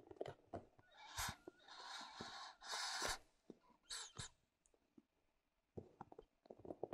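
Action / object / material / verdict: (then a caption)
tap / small plastic figurine night lamp / plastic / none. Long dark-painted nails tap and scratch a small glowing Buddha-shaped plastic night light held in both hands as its color changes. Quick, dry clicks alternate with longer bright, hissing scratches across the plastic surface, followed by a near-silent pause and a final flurry of light taps.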